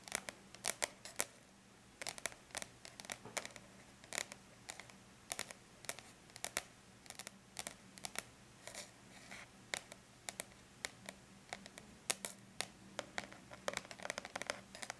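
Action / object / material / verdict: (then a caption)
tap / aluminum laptop lid / aluminum / none. Long bare natural nails on several fingers lightly tap the flat, silver-gray lid of a closed aluminum laptop, a hollow device. The taps come as quick, bright, dry clicks in irregular bursts and rolls, each dying away almost instantly, over a faint steady low hum.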